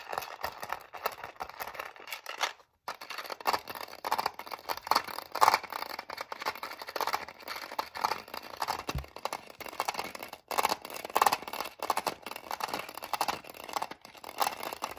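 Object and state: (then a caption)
Plastic bobbin storage case. Long nails rapidly tap and scratch the lids of a clear hard-plastic bobbin storage case with many compartments holding bobbins. The result is a dense stream of quick, dry plastic clicks and scrapes centered in the midrange with bright edges and almost no low end. It pauses briefly near 2.7 and 10.4 seconds.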